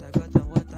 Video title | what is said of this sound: CHECK OUT THIS 2004 TOYOTA COROLLA LE REVIEW...The Results Will SURPRISE You! | The dashboard sounds like plastic, which look kind of cheap, but it's okay.